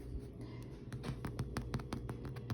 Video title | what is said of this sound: Beating Inflation—Baking Bread! I Messed Up!!! Depression Era Cooking | hollow sound in the bottom of the bread loaf